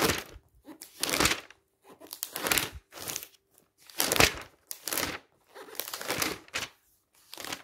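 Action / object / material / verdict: scrape / glossy paper magazine pages / glossy paper / none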